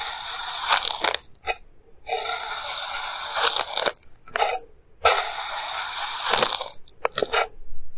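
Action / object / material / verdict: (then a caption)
scrape / kinetic sand pile cut with a plastic knife / sand / none. A clear plastic knife cuts thin slices from a solid, hand-sized pile of purple kinetic sand, cutting and scraping through it. Long, bright, gritty crunching and scraping strokes alternate with short near-silent pauses, with quicker, sharper cuts near the end.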